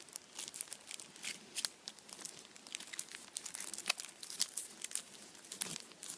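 A Kinder chocolate Easter bunny wrapped in blue aluminium foil is held in both hands while fingertips squeeze and rub the foil. The result is quiet, dense, bright crinkling with many sharp, dry crackles and almost no low end.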